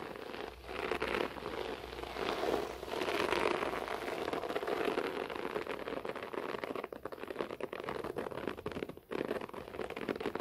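Both hands scratch a beige short-pile floor carpet with fingertips and nails. The result is a steady, dense, crackling rustle like rain on a surface, centered in the low mids with a soft hiss above. It briefly drops away twice near the end before resuming.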